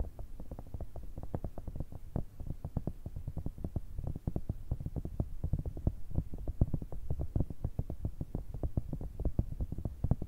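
A grey, cylindrical, cat-shaped pencil case of hollow soft silicone is held in both hands and tapped with long red nails. Rapid, steady taps land throughout as soft, dull, low thuds that stop almost instantly, with no bright edge.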